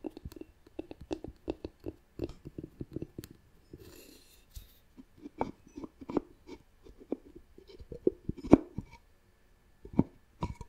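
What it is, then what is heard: Wooden lidded jar. Long nails tap and scratch the wooden lid of a hollow, turned, light-colored wooden jar. Quick, irregular, dry knocks centered around 290 Hz alternate with a brief bright, hissy scratching stretch, with almost no ring after each tap.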